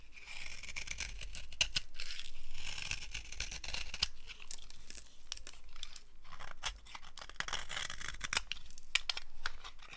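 A blade carves crunchy curls off the surface of a solid, dry green soap bar held in the hand. The sound is continuous, with dry, bright scraping and crackling strokes and a few sharper snaps. The cuts run close together, not as separate hits.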